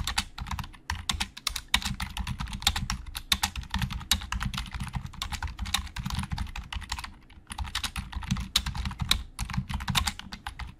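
Fast fingertip typing with both hands on a hollow black plastic Logitech keyboard produces a dense stream of sharp, bright clicks with very little ring. A steady low hum runs underneath, and the typing pauses briefly around the seven-second mark before resuming at the same quick pace.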